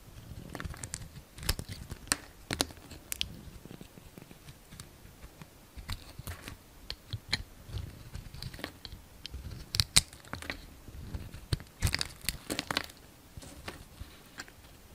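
A solid green bar soap with a glittery blue coating is held in hand while a utility knife slices off the coating and surface. The result is a steady run of short, dry crunching and scraping cuts with crisp, bright edges and a soft low thump beneath, each cut dying away almost at once in quiet surroundings.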